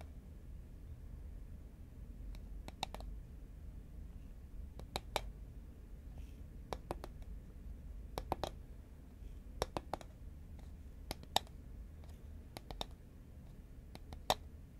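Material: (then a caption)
Paperboard. Fingernails tap the side of a tall, cylindrical composite paperboard Pringles chip can held horizontally in both hands. About twenty short, dry, bright clicks come in irregular pairs and small clusters with no ring afterward, over a quiet low rumble.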